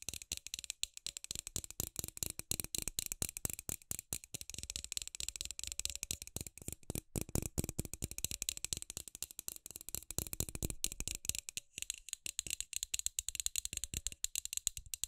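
A hand-sized LED light bulb with a hollow frosted plastic dome and a metal screw base, held in both hands, is tapped and scratched fast with long pink acrylic nails on the dome. The result is a dense, steady stream of sharp, dry plastic clicks with almost no ring, bright and hollow in tone, mixed with brief scratchy rasps.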